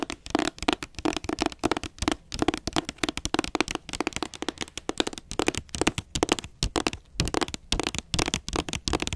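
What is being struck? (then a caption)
Hardcover book cover. Long nails tap rapidly on the front cover of a solid blue hardcover book with a glossy jacket, close to the camera. Quick, dry clicks with almost no ring come in uneven bursts, with a hollow body around 300 Hz under a bright tick.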